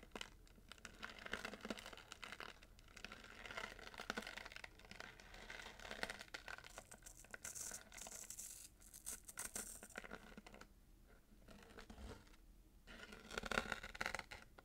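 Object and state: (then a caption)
Paper-wrapped cardboard gift box. Fingernails scratch rapidly along the glitter ribbon and wrapping paper of a small paper-wrapped cardboard gift box held in the hand. The result is a quiet, continuous bright scratching and crinkling, with dense rasping strokes that swell and fade in short bursts.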